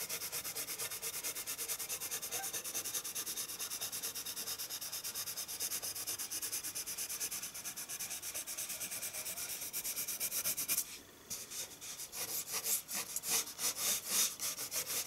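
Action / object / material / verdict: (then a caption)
scrape / pencil on paper sheet / paper / none. A colored pencil makes dense shading strokes on white drawing paper resting on a wooden table, rubbing and scratching the paper surface. A steady, bright, papery scratching repeats rapidly throughout. Near the end it briefly drops away, then returns as louder, more distinct strokes.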